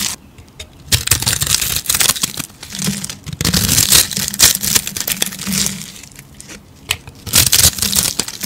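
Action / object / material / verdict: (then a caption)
scrape / rolled bar of soap scraped with a metal blade / soap / none. A metal blade scrapes and scratches across the face of a hand-sized, hollow rolled spiral of dry pink soap with colored speckles, held in the other hand, shaving off crunchy flakes. Dense, bright crackling and crunching comes in bursts of sharp, dry clicks with short quiet gaps between strokes.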